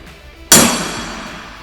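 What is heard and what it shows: A steel ball is dropped hard onto an aluminum CNC table deck, giving a single sharp, bright metallic clang that rings and fades over about a second. The impact leaves a large crater dented into the aluminum deck.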